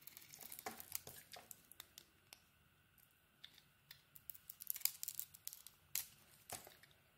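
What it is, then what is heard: Bar of soap being shaved. A metal utility-knife blade shaves and scrapes the cream interior of a red-coated solid bar of soap held in the hand. Quiet, bright, crisp scrapes and crinkly clicks come in an irregular series of short strokes, each cutting off almost at once with no ring.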